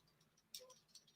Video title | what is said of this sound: The Interesting Modelling Co. LIVE! | you can hear stuff sort of shaking